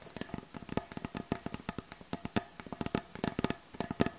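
Long acrylic nail tips of both hands tap quickly across the surface of a solid, light wooden butcher block board. About 29 short, dry clicks sound with a woody knock around 230 Hz and bright ticking edges. Each click stops almost at once, leaving a fast, uneven patter.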